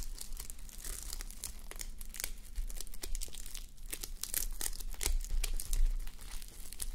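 A flip-sequin sleep mask, plastic sequins on thin, soft fabric that is not hollow, is worn on a white plastic mannequin head and scratched and rubbed with the long manicured nails and fingertips of both hands. The result is a dense, irregular crinkling and scratching, made of quick bright ticks and rasps over a steady low rumble.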